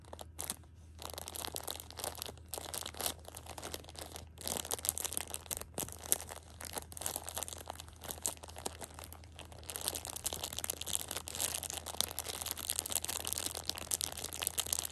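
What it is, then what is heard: Plastic-wrapped tissue multipack being crinkled. A Shopkins six-pack of pocket tissues in clear plastic overwrap, soft and full, is held in hand while long painted nails and fingertips scratch and squeeze the crinkly plastic film. Dense, bright crinkling and scratching crackles run throughout, with a low steady hum underneath. The crinkling grows busier and louder in the last few seconds.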